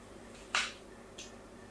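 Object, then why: Bar of soap. A fine blade scores diagonal lines into a solid pink soap bar held upright in the hand. Two bright, scratchy scrapes are heard: a strong one that fades over about a quarter second, then a shorter, softer one. A quiet steady hiss sits underneath.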